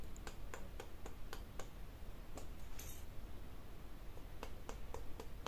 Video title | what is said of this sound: مربى اليقطين (القرع) سر القرشة واللون الذهبي /بـ 9 دقايق لخصتلكم خبرة والدتي لسنوات👌🏻💯 | Cuando escuchas este sonido en una calabaza, sabes que esta calabaza se ha calcificado mucho